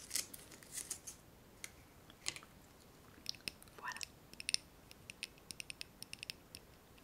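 Long painted fingernails tap a small clear glass candle holder filled with solid pale, unlit wax, held in one hand. The sound is a series of quiet, bright, dry clicks that stop almost at once, with almost no low end. The taps come in irregular clusters and then as single evenly spaced taps.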